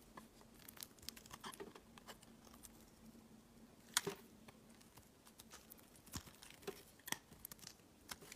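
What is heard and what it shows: A utility knife blade scrapes shavings off an oval, green, translucent glycerin soap bar. Quiet, crisp crackling scrapes and sharp clicks come in irregular bursts with bright, dry edges over a faint steady low hum. The loudest snap lands near the middle of the clip.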